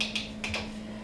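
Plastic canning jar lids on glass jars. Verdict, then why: Sealed. The reusable plastic lids on four pint canning jars are tapped to check their seals: four short, bright clicking taps sound over a faint steady low hum. The taps are crisp rather than hollow, and the jars are still sealed seven months after canning, along with all 28 in the batch.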